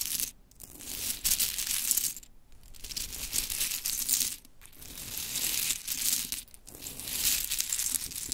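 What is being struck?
Small wooden clothespins.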